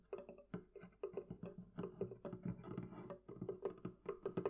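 Fingers tap continuously on the wooden surface of a wooden barrel chest, producing a quick, uneven series of short, dry knocks. Each knock has a hollow, mid-pitched tone around 400 Hz with some low body and dies away almost at once.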